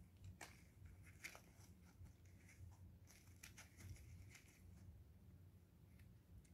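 A solid, translucent blue glycerin soap bar with an embossed logo, held in gloved hands, is shaved with a craft knife blade, leaving cut pieces on the paper. Quiet, crisp scraping strokes come in short bright bursts, peaking around 2.4 kHz, over a steady low hum. Each scrape stops sharply with almost no ring.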